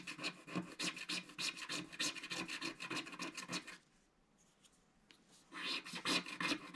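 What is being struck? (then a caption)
Scratch-art coated card with wooden stick. A wooden stick scratches the coating near the edges of a flat, solid, black-coated scratch-art card page. Quick, bright, raspy strokes repeat for almost four seconds, centred around 2.5 kHz with little low end. After a near-silent pause with a few faint ticks, the scratching resumes for the last second.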